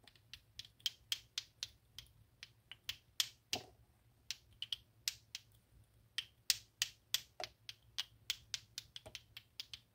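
A plastic clacker balls toy, two small solid pink plastic balls on a string, is swung by hand so they knock together repeatedly. About 32 sharp, bright clacks ring out at an uneven pace, roughly three per second, each dying away almost instantly with little low end.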